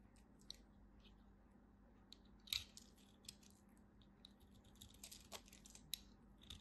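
A craft knife carves small crunchy cubes off a small piece of purple dry bar soap held between the fingers. Quiet, short, bright crackling crunches and clicks come at irregular moments, each dying away almost at once, over a faint steady low hum.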